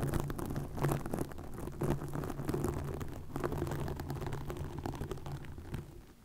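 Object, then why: Plastic mesh netting over a microphone. Long nails scratch and rub green plastic netting wrapped over a microphone, making a dense, crackling rustle that stays heavy in the low end with a steady low hum beneath it. The scraping runs continuously for about six seconds, then fades quieter at the end.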